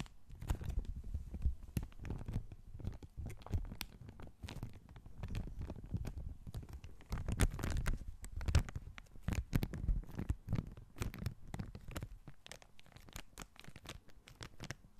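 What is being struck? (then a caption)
Small clear plastic bag. A small clear plastic bag with a white label, empty or holding only thin contents, is held by the fingertips in both hands and crinkled and squeezed close to the microphone. Dense, continuous crackling and rustling comes through as many short, quick snaps over a muffled low rumble. Louder bursts swell and fade throughout.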